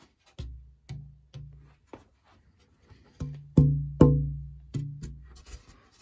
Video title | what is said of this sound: Archtop Guitar Build - f holes and bracing | It really did drop quite a bit.